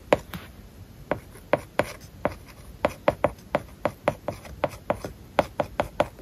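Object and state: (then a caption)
Stylus tapping on a tablet with matte plastic screen film. A plastic stylus writes words on an iPad lying flat, its glass screen covered with a matte plastic paper-like film. There are 19 short, dry taps and scratches, with a light ticking tone around 590 Hz and a faint soft rub between strokes.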